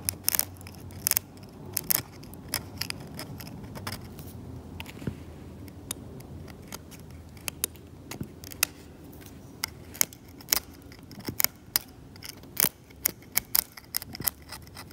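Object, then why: Varnished oil painting on canvas. A scalpel blade scrapes downward through the cracked, varnished paint of an oil painting on canvas, loosening flakes. Many short, sharp, bright scratches and clicks sound over a low, steady background rumble.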